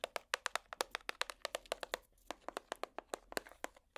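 A hollow clear plastic compartment box, held in the hands, is tapped with plastic finger picks in a quick, uneven run of 26 sharp, dry clicks with a brief pause about halfway through. Each tap is bright and short with almost no ring, centered around 500 Hz.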